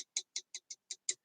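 A freshly made acrylic nail is tapped six times, evenly spaced, to check whether it is completely dry, giving short, light, hollow clicks. The nice hollow sound shows the nail is dry.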